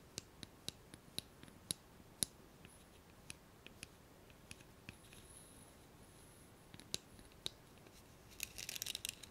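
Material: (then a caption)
Plastic. Long nails tap and scratch a hollow blue plastic hairbrush handle, making about 19 quiet, sharp, bright clicks spaced irregularly. The clip ends with a brief flurry of rapid scratching.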